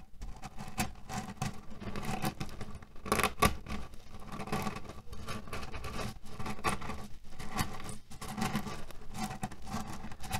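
Fingernails tap and scratch on a cotton fabric pillow filled with cherry stones while fingers press the pits inside. The result is a dense, steady stream of soft crunchy clicks and rattling rustles, mostly low and muffled, with occasional sharper taps standing out.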